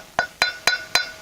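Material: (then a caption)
Steel. Four sharp metallic taps land around the edge of a grease seal seated flush in the back of a steel trailer brake drum. Each tap is a bright clink with a steady ring near 1.5 kHz that fades quickly, and the louder metallic tone shows the seal is seated properly.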